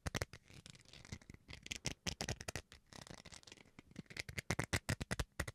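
Fingernails scratch across the bowl face of a small, solid white plastic rice paddle in quick, uneven strokes. Each scratch is a short, dry rasp with a bright, hissy top and a soft low thump, and it dies away almost instantly. The result is a quiet, close, crackly patter of closely spaced scrapes.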